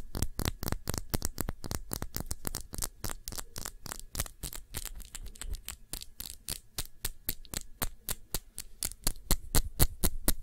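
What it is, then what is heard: Glass perfume bottle, nail tapping. Fingernails tap rapidly on the glass base of a small glass perfume bottle filled with blue liquid, held cupped in both hands. The taps come as quick, fairly steady dry clicks at about four per second, each with a bright tick and a low, dull body that dies almost at once. A faint hum sits underneath.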